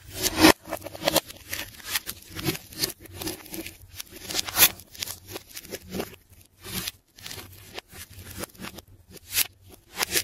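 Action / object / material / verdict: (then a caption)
scrape / layered plastic tape ball / plastic tape / none. A hand holds a round, pink, solid ball of layered plastic tape while a metal scalpel cuts and scrapes through its inner tape layers. The result is a steady run of bright, crackly scraping and tearing bursts that come and go in quick, uneven strokes, with short pauses between them.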